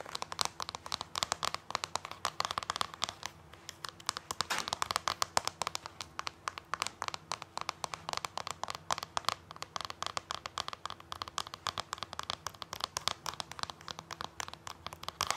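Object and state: Plastic DVD disc in a plastic sleeve.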